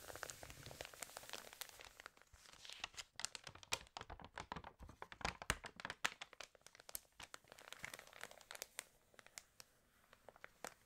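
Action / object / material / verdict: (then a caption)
scrape / glossy paper magazine / glossy paper / none. Fingertips and nails rub, scratch and turn the pages of an open, water-damaged glossy paper fashion magazine. Dense, quiet crinkling and crackling is heard, with many short, sharp, bright snaps that die away almost instantly over a soft rustle.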